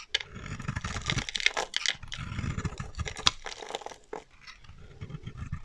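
A solid, dry pale green bar of soap held in the hand is shaved with a metal utility knife blade, and flaky chips break off. Bursts of crisp scraping and crumbling carry bright, papery highs over a low rumble, with short sharp snaps as pieces give way.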